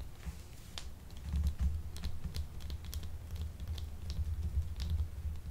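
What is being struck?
Translucent soap bar.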